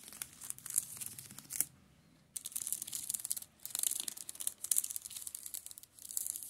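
Fingers rub and scratch the crinkly plastic shrink-wrap film over the spines of a row of shrink-wrapped paperback manga on a table. The sound is bright, dry crinkling and scratching in rapid bursts, with a short quiet pause near the two-second mark and a brief dip around three and a half seconds before the rubbing resumes.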